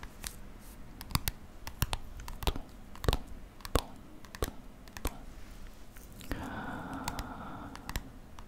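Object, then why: Softcover paper photo book. A softcover paper photo book with a woman's portrait on the cover is held in both hands while fingertips and nails tap and scratch the cover. Sharp, dry clicking taps ring out at an uneven pace over a low rustling bed. Near the end they give way to a steadier scratching sound.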